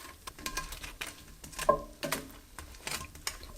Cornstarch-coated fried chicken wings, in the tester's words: can hear how crispy they are